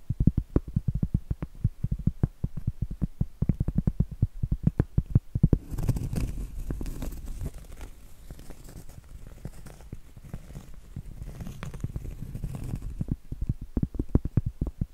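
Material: Cork.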